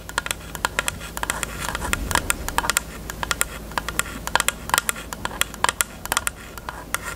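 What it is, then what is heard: Plastic case tapped with nails. Long nails tap quickly on a closed, hollow, pink hard plastic rectangular case with a cherry print. Many short, sharp, bright clicks land in an irregular rapid patter, each dying away almost at once, over a faint steady low hum.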